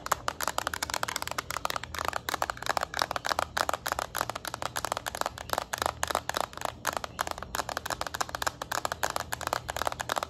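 Long acrylic nails tap rapidly on the small, hollow plastic back shell of a yellow Nintendo Switch Lite held in both hands. The result is a fast, continuous stream of short, dry clicks with a midrange tone around 1 kHz and bright edges, over a faint, steady low hum.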